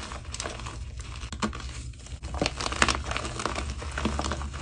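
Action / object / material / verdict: scrape / block of gym chalk (magnesium carbonate) / magnesium carbonate / none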